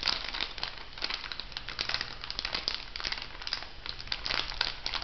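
A small, filled orange printed plastic-foil cosmetic sachet is held upright and crinkled and scratched with long nails. The result is a steady stream of bright, dense crinkling and crackling with many quick overlapping bursts, set over a faint low hum.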